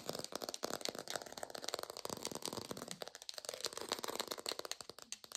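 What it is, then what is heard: Artificial textured plastic orange. A textured artificial plastic orange is fast-tapped in a lo-fi recording, producing a rapid, uneven string of dry, rattly clicks. Each tap is short and bright, with almost no low end or ring, so the taps blur into a continuous crackling patter.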